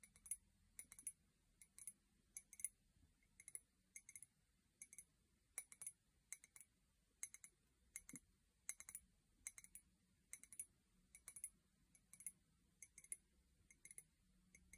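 An empty white ceramic mug with a pink handle, held by the handle, is tapped with long painted nails. Quiet, bright, glassy clicks come in irregular bursts. Each tap dies away almost instantly over a faint low hum.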